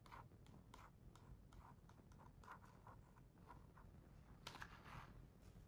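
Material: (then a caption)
Coated paper. Fingertips and nails trace across the glossy paper page of an open hardcover picture book, making soft, repeated scratchy strokes over a low, quiet rumble. Near the end, a brighter, louder rustle marks a page being turned.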